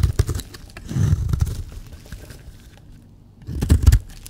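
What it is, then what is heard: Bar soap being shaved. A metal blade shaves and scrapes curls off the surface of a solid, dry pink bar of soap held in the hand. Soft, muffled scraping and crumbly rasps come in bursts, mostly low in tone, fading to near silence before a final louder run of scrapes.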